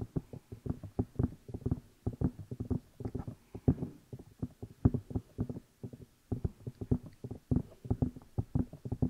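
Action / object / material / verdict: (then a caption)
tap / silicone microphone ear pieces / silicone / none. Fingertips tap and rub the two hollow rubber or silicone ear pieces of a black binaural microphone while the hands cup them. Dozens of quick, muffled low thumps come in uneven bursts, dull and boomy with almost no ring, over a faint scratchy rubbing.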